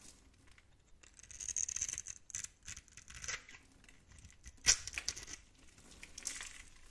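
A blade tool scores and scrapes a solid, hand-sized bar of green and turquoise soap held in the palm, shaving off small cubes. Quiet, dry, bright scratching and scraping comes in short irregular bursts with almost no low end, and one sharper crack stands out near the middle.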